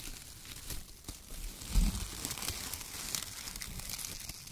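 Fingertips squeeze and crumple bunches of shredded brown kraft paper, producing a steady, dense crinkling with bright papery crackle. A low thump stands out near the middle.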